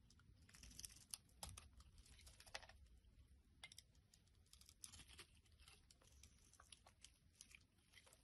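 A box-cutter blade is repeatedly scraped across a solid pink translucent soap bar, shaving off thin curls. Quiet, crisp, bright scraping strokes and tiny clicks follow one another in quick, uneven bursts, with no ringing after each stroke.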